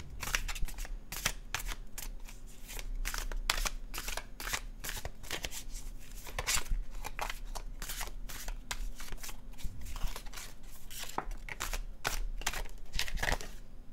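A dark blue cardstock tarot deck with a gold design is held and shuffled by fingertips over a cloth. Rapid, crisp papery riffles and snaps flick through the clip in quick bursts, bright and dry with almost no ring, over a steady low hum.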